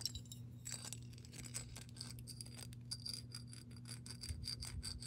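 Long pink nails tap and scratch the base and side of a clear glass mason jar partly filled with water. Quick, bright clicks and clinks with a short high glassy ring follow one another over a steady low hum.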